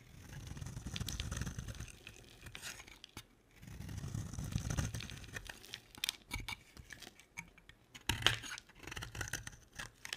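A solid, dry oval pink bar of soap with embossed lettering is held in the hand and shaved with a box-cutter blade. Soft, low rumbling scrapes swell and fade twice before giving way to a run of crisp, bright scratching cuts and sharp little clicks.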